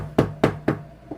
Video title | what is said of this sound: A Project (Part 3) | knocking on it and stuff, tapping on it. It's solid.